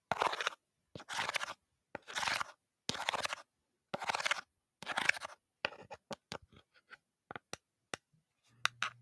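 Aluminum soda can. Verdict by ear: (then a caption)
Empty. An empty aluminum grape-soda can is crinkled in six separate bursts of bright, scratchy crackling, then tapped in a run of short, sharp metallic ticks. The final ticks come with a faint low hum.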